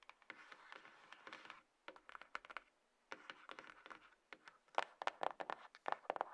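Long fingernails tap and scratch along the sides and lid of a small, closed, hollow grey cardboard iPhone box resting on a table. Quiet, dry scratching hiss comes in bursts, broken by short pauses and quick, irregular clicking taps with no ring. The taps grow sharper and louder toward the end.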